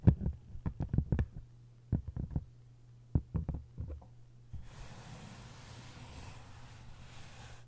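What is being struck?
Paper-covered hardcover book.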